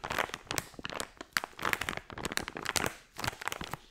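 A small, colorful, crinkly plastic foil blind-bag toy pouch filled with a soft toy is held in both hands while fingertips with long nails squeeze and scratch the crinkly film. The result is a steady run of sharp crinkling and crackling bursts, bright and papery with little low end, each dying away almost instantly between brief quiet gaps.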